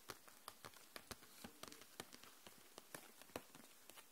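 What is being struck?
Plastic case of markers.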